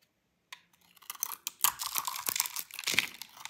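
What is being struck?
Bar of soap.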